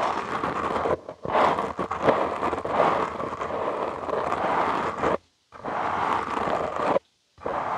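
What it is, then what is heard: Foam microphone windscreen. Short nails and fingertips scratch and rub directly on the soft, porous black foam windscreen of a studio microphone. The result is a dense, crackly, scraping rustle centered in the mids, broken by a brief dip near one second. Two short silences near five and seven seconds split it into separate stretches of scratching.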